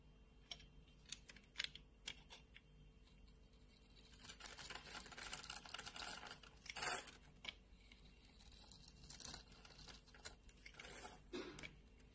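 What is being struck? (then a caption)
Bar of soap scraped with a metal blade. A solid white hand-sized bar of soap, held in a palm with its surface cut into a textured pattern, is scraped with a metal blade by a hand with long manicured nails. Quiet, bright, crisp scratching and shaving crackles come in short sharp ticks. A denser, louder stretch of scraping falls around the middle, with a few stronger strokes near seven and eleven seconds.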